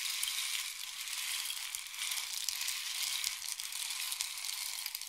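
A long, hollow, painted wooden or bamboo rain stick is tilted in both hands, sending its filling cascading through it. The result is a steady, bright, pattering hiss of tiny grains, almost entirely high-pitched with no low end, swelling and easing slightly as the stick is tilted.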